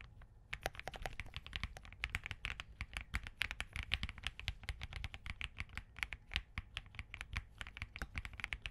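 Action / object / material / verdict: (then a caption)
tap / mechanical keyboard with plastic keycaps / plastic / none. Both hands type rapidly with their fingertips on a compact Spark67 mechanical keyboard with POM, Crane switches, hollow switch housings and green gradient plastic keycaps, resting on a desk mat. A steady stream of quick, crisp clacks lasts about nine seconds, each key press a short, sharp click with a bright top and a low thud underneath.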